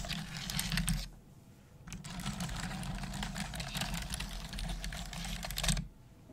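Long acrylic nails and fingertips type on the hollow keys of a black plastic desktop computer keyboard, giving a rapid stream of bright, clacky taps over a low steady hum. The typing pauses for about a second near the start, then resumes in dense bursts before stopping shortly before the end.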